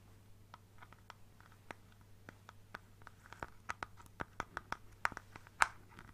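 A hand taps and scratches an apparently empty clear plastic bottle, with a white cap and a teal printed design, using fingertips and nails. Thirteen short, crisp clicks come at an irregular pace over soft scratchy rustling and a faint low hum. The taps grow louder toward the end.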